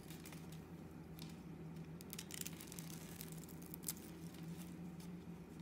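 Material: Soap.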